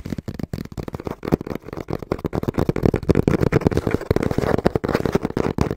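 Fingertips tap quickly and rhythmically on the front panel of a small, brown, hollow cardboard box held in both hands. Each tap is a short, dull, hollow thud with very little ring, its energy sitting mostly in the low and low-mid range with hardly any bright content. The taps run continuously and grow somewhat denser and louder toward the end.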